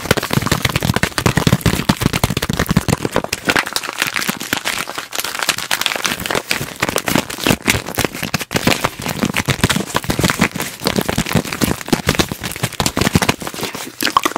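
Long fingernails rapidly tap and scratch across the crinkly surface of a small, shiny, red transparent vinyl zip pouch, flat and apparently empty, held in both hands close to the microphone. The result is a dense, fast stream of sharp clicks and crackling crinkles with bright, high texture and a little low thump, steady throughout with only brief dips.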